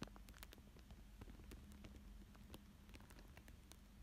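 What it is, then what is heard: Plastic film over paper drawing. A thin dark tool traces and scratches across a thin clear plastic sheet lying flat over a paper fish drawing. Soft, quiet crinkles and rapid scratchy ticks with bright edges run throughout over a steady low hum.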